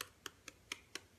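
A baked meringue pavlova's shell is tapped several times, giving a series of light, crisp, high-pitched ticks with almost no ring. The sound shows the pavlova is properly cooked: crisp and hard on the outside and soft on the inside.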